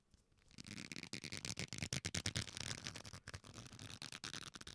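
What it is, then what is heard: Leather belt being rubbed. A leather belt strap, held taut and bent between the hands with its metal buckle hanging at the end, is rubbed with the fingertips. After a near-silent first half second, a dense, bright scratchy rustle builds and continues with short breaks, over a soft low rumble, for the rest of the clip.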